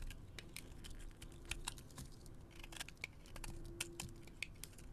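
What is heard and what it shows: A metal blade scrapes and carves flaky shavings off a solid white soap bar held in the hand. It makes a quiet, rapid series of short, crisp, dry ticks and scratches with a bright edge around 2.5 kHz over a low background rumble. Each sound ends almost instantly with no ring.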